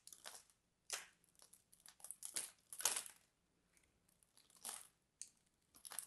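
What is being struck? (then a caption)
Bar of soap scraped with a small metal blade. A small metal blade scrapes and cuts flakes off the face of a hand-sized, partly carved solid purple bar of soap held in one red-nailed hand. Quiet, bright, dry scratching and crunching bursts come at irregular intervals, each fading quickly, with short silences between them.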